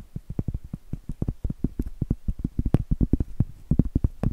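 Medium acrylic nails tap and scratch on a round, flat, solid cork trivet held upright. The result is a rapid, uneven run of about 26 dull, dry, low taps with no ring, and faint scratchy texture between them.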